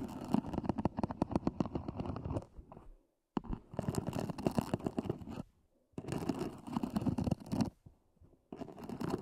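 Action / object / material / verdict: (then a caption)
scrape / EVA hard-shell earphone case / EVA foam / none. Long nails scratch the sides and lid edges of a small, hollow, black zippered EVA hard-shell earphone case. Rapid, dense scratching and scraping, with a hollow low-mid body, comes in several bursts separated by brief silences.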